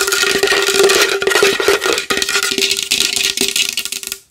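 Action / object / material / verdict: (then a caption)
tap / large wooden bowl / wood / none. A large wooden bowl is tapped fast and hard with long nails, producing a dense stream of quick, dry clicks and knocks over a steady hollow tone around 395 Hz. Each tap dies away almost immediately, with bright, crisp highs and no low-end boom.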